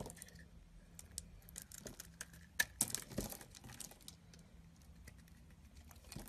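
A small knife blade shaves curls off the edge of a solid rectangular cream bar of soap held in the palm. Soft, dry scrapes and crisp crinkling ticks repeat over a faint low hum, with a few sharper, louder cuts near the middle.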